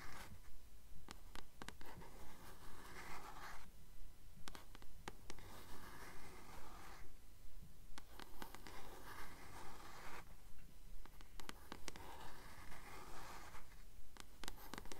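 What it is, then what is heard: Paperback book. Long nails tap and scratch the front cover of a blue paperback copy of The Titan's Curse, held upright. Quiet, steady taps repeat in an even rhythm, about 28 over the clip, layered with bursts of dry scratching. A low, constant rumble sits underneath.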